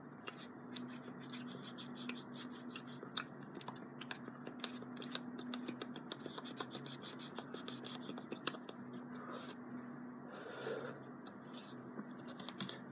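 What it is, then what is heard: Cardboard scratched with fingernails. Fingertips and short nails scratch and rub across a small, flat piece of brown cardboard with printed text, held close. The result is a quiet, continuous run of dry, bright scratching with rapid tiny clicks, over a faint, steady low hum.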